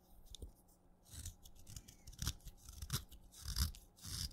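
A craft knife cuts crumbly flakes from the end of a short, wet, tan chalk stick held in the fingertips. It makes soft, irregular crunching and scraping strokes, each with a dull low thump and a bright, gritty crackle. The strokes are quiet and close, with no ring after each cut.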